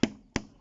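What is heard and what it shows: A stick taps twice on another part of a pallet-wood shelter, two years after it was built. Each tap gives a short, solid knock with a low-mid tone that dies away quickly. The wood sounds sturdy and not rotten.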